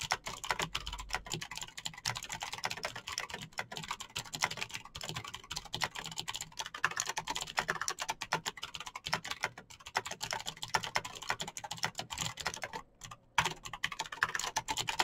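Both hands type rapidly on a backlit mechanical keyboard with plastic keycaps and clicky green switches. A steady stream of sharp, bright key clicks runs throughout, with a brief pause just before 13 seconds.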